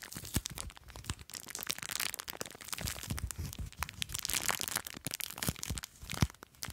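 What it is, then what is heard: Plastic bag filled with foam beads. Long nails scratch and squeeze a small clear plastic bag full of blue foam beads. A dense run of crisp crinkling, crunching and crackling follows, with bright rustle over soft low thumps. Occasional sharper crackles stand out from the steady fizz.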